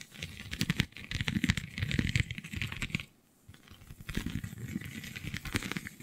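Long nails scratch across a flexible, iridescent holographic vinyl sheet covered in raised scale-like bumps. The result is a dense, crackly, crinkling scratch with rapid bright ticks over a low rumble. It briefly drops to near silence around the middle before the scratching resumes.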